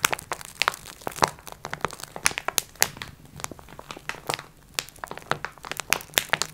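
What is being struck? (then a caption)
Flat package wrapped in plastic film. Long red nails scratch and tap the crinkly plastic film wrapping a flat "Multi Pack x4" package. The result is a rapid, irregular series of sharp, bright crinkles and clicks over a faint low hum, with each tap dying away almost instantly.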